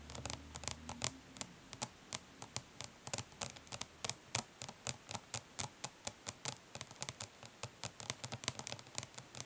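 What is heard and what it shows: Long fingernails on both hands tap rapidly on a closed, flat plastic eyeshadow palette, resting printed lid up, with the hollow case giving each tap a sharp, hollow click. A steady stream of bright, short ticks with almost no ring runs throughout, mixed with light scratching and a faint low hum at the start.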